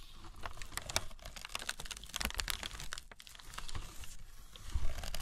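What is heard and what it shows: A crumpled tissue paper sheet spread flat on burlap is rubbed, scratched and crinkled by fingers with long red nails. Dense, bright, crackling crinkles and sharp scratchy clicks come in quick clusters over a low rumble. The sound swells louder near the end.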